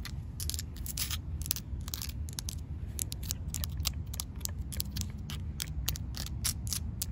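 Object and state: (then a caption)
Concrete ground, solid. Fingertips and nails rub, scratch and tap a rough, solid grey outdoor concrete slab. Quick, dry, bright scrapes and clicks come in rapid irregular bursts over a steady low rumble, each one stopping dead with no ring.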